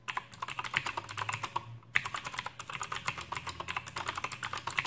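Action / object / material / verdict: tap / plastic mechanical keyboard with clicky switches / plastic / none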